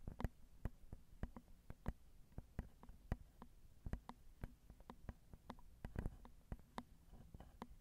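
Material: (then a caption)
Metal mesh. Long acrylic nails tap on the small, hollow metal mesh grilles of a Zoom recorder's XY microphone capsules. The result is a steady stream of soft, quick, dry taps with almost no ring, each with a deep thump and a faint bright click.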